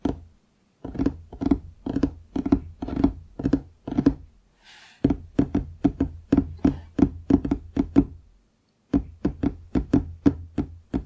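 Fingertips tap a large, solid wooden desktop near its front edge, on both sides of the microphone. The result is quick, dull knocks with a low woody resonance around 280 Hz. They come in three rhythmic runs separated by short pauses, and each knock dies away almost at once.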